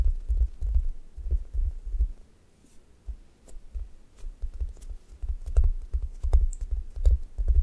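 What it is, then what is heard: Foam squishy toast. Long nails tap and scratch the surface of a solid, brown, textured foam squishy toast. The result is soft, muffled, low thumps with faint brushing scrapes and occasional brief bright ticks, falling to a near-silent lull midway before the tapping resumes.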